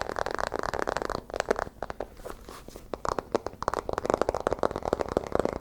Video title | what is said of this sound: ASMR Fast & Aggressive BOOK Sounds | if I bend the book, the sound becomes much more solid